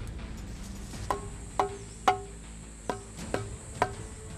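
Six short, woody knocks on an old tree trunk, struck to check whether it is hollow inside, where wild bees build nests. Each knock gives a sharp attack with a brief mid-pitched ring that dies away almost at once, over a faint, steady high-pitched hum.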